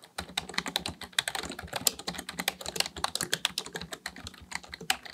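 Both hands type steadily with their fingertips on a black plastic full-size computer keyboard resting on a desk. The result is a rapid, continuous stream of short, bright plastic key clicks and taps that decay almost instantly, with very little low-end thump.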